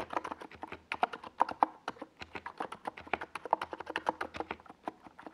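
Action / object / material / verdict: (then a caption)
tap / plastic mechanical keyboard with tall plastic keycaps / plastic / none. Fingertips from both hands type rapid key taps on a compact 68-key NiZ Plum Atom 68 mechanical keyboard. It has a white plastic, hollow-bodied case and purple and yellow Domikey Gas Attack SA plastic keycaps, and it sits on a desk pad. The result is a steady stream of short, dry, mid-pitched clacks that die away almost instantly, with little low end.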